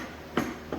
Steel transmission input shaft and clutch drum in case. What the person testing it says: it sounds solid instead of very light, where if it was hitting a friction disc instead